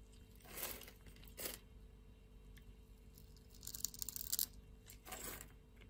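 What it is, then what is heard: Soap bar being scraped. A blade scrapes the grid-scored surface of a solid light-blue soap bar, cutting it into small cubes. The scraping comes as soft, bright, crunchy bursts, with a denser run of crackly crunching in the middle, over a quiet background.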